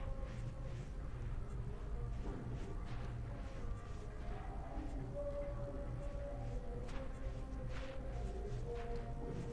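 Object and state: Nothing is struck.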